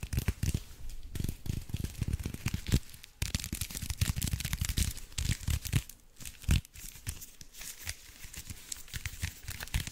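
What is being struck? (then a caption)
Foil-wrapped block. Fingers crinkle and scratch the aluminium foil of a small foil-wrapped block held up in both hands. Dense, continuous crackling and rustling fills the clip, with brief low thumps from handling and a few short pauses.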